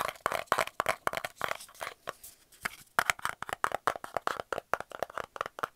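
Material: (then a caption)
Cardboard. Fingernails quickly tap and scratch the flat end and side of a small, hollow, round kraft cardboard tube end cap held in both hands. The result is a fast run of dry, papery clicks and scrapes with a bright midrange, almost no low end and no ring after each hit.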